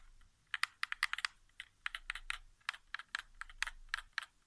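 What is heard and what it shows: Fingertips tap the face buttons of a hollow white plastic PS4 game controller resting on carpet, giving about eighteen quick, dry plastic clicks in uneven bursts. Each click is short and bright, centred near 2 kHz with almost no low end, and stops dead with no ring against a quiet background.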